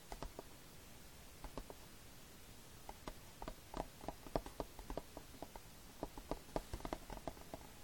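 Fingertips tap and scratch the printed cover insert of a hollow plastic Fullmetal Alchemist DVD case with a dark rim, lying flat on a striped blanket. Quiet, short, dry taps with a hollow midrange tone come in irregular bursts, mixed with soft scratching over a faint background hiss. Each tap dies away almost instantly.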